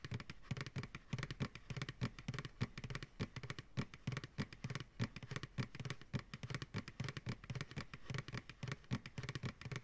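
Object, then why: Plastic pail. An empty, medium white plastic ice cream pail sits upside down while fingertips and nails tap quickly on its sides. The taps come in a rapid, uneven flurry of short, hollow low thumps mixed with light clicky nail ticks, each dying away almost at once.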